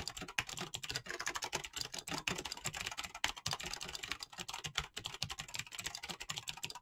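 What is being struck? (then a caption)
Mechanical keyboard with plastic keycaps. Fingertips with short nails type rapidly on a full-size mechanical keyboard with clicky green switches and PBT plastic keycaps. A fast, steady stream of bright, crisp clicks and clacks follows, each keystroke sharp and quickly damped, with little low-end weight.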